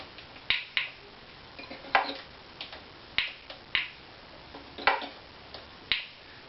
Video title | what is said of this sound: Tap Tone Survey of my Opus # 04 Violin | it's about 176. but it's not even